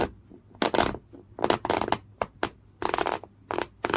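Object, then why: Woven cotton canvas cloth. Fingernails scratch a folded piece of thick beige woven cotton canvas cloth, with the hand partly out of frame at times. Short, rough scratching bursts come in quick succession, with bright, broadband rasping and quiet gaps between strokes.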